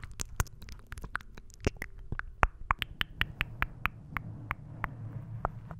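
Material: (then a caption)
Foam. A soft, porous pink foam windscreen, a rounded cover over the head of a silver condenser microphone, is scratched and tapped with the fingertips and short nails of both hands. A steady run of sharp, dry, clicking taps with bright crackly edges sits over a low, muffled rumble of scratching. Each tap stops almost at once.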